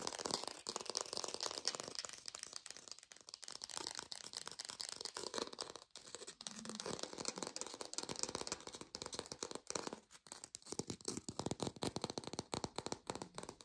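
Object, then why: Textured plastic artificial orange. A textured artificial plastic orange is tapped quickly with a lo-fi sound. The result is a dense, continuous stream of sharp, dry clicks and rattly ticks, mostly high-pitched, with very little low end and almost no ring after each tap.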